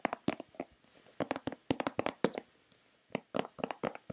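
Long red-painted nails tap and scratch a hollow white plastic Nivea lotion bottle in quick, irregular bursts. Each tap is a short, dry click with a hollow body around 480 Hz and bright scratchy edges, dying away almost instantly, with brief quiet gaps between the clusters.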